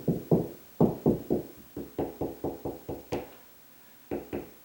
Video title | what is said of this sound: How to Determine Ceiling Fan Location in Existing Ceiling for Dummies | Higher pitch, and I can tell it's more solid right there